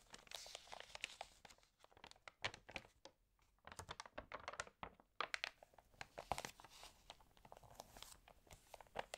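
Fingertips and nails rub and turn the pages of an open, water-damaged paper home magazine. Quiet, dry crinkles and brittle crackles come in dense bursts, bright and papery with almost no low end, separated by brief near-silent pauses. Each crackle stops instantly with no ring.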